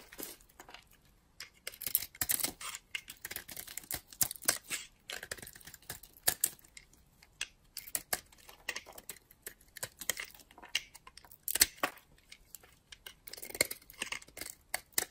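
A utility-knife blade scrapes and cuts slices off a solid purple and white bar of dry soap held in the hand. Quiet, crisp scraping and crunching bursts come in quick uneven clusters, bright and high with almost no low end. Each sound stops dry, with no ring between cuts.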